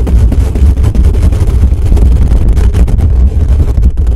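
Fingertips of both hands rapidly scratch and tap the hollow metal mesh dome grille of a desktop microphone. The result is a loud, continuous, dense low rumble centered around 70 Hz with rapid fluctuations and almost no high content throughout.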